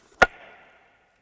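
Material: Slate.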